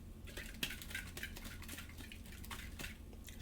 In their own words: and when you shake it sounds like there's still a vacuum inside that can